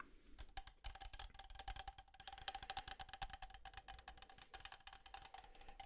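A hollow red and black Coca-Cola aluminum can, of unknown fill level, is held up and tapped rapidly on its sides with fingertips and nails. The result is a dense, uneven flurry of short, bright metallic clicks, each carrying a faint hollow ring near 780 Hz that dies away almost at once.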